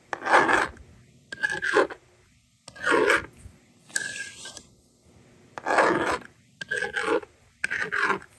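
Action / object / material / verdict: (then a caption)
scrape / plastic magnetic drawing board and stylus / plastic / none. A yellow plastic stylus scratches numbers onto a handheld plastic toy magnetic drawing board, and the eraser slider is used near the end. Seven separate bursts of dry, rasping scratches stand out against near silence, bright and mid-toned with almost no low end.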